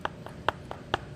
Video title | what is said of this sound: Ask Coach Nichole | it's like knocking on a door it's reinforced